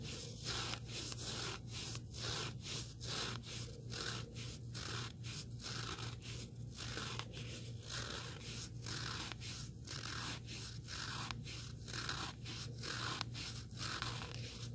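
Fingertips and nails scratch the abrasive face of a small, solid, black rectangular sanding sponge block. The result is a continuous series of dry, gritty scrapes with bright hiss, strokes coming roughly once a second in an uneven rhythm, over a steady low hum.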